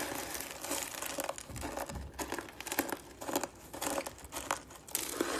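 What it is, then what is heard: Dry shredded soap being crushed. Thin shredded strands of dry green soap are pressed and crushed with the fingers. A dense run of dry, crinkly crunches comes as overlapping bright, crackling bursts with short pauses between squeezes.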